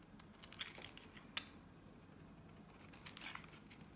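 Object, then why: Bar of soap cut with a blade. A box-cutter blade carves curled shavings from a solid blue Nivea soap bar held in the hand. Quiet, bright scraping and crinkling strokes are broken by a few sharper crisp snaps, over a faint low background hiss.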